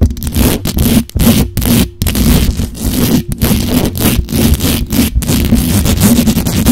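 Long pointed acrylic nails fast-scratch and tap the hollow perforated metal mesh grille of a black USB condenser microphone. Dense, rough scratching and rustling heavy in low rumble is broken by brief gaps and quick taps, with a faint steady hum throughout.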